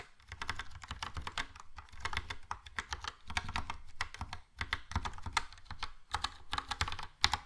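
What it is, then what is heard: Plastic mechanical keyboard. Fingertips of both hands type steadily on a Logitech POP Keys plastic mechanical keyboard with a yellow plastic case and round plastic keycaps. The result is a rapid, uneven stream of bright, crisp clacks over a low thumpy body, each keystroke dying away almost instantly, with brief pauses between bursts.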